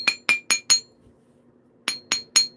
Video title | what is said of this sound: LV148 - (ENDED) Wednesday Slabs and Spalls - Jack Crafty is live! #flintknapping #survival | that sounds solid. Yeah, that has a tone.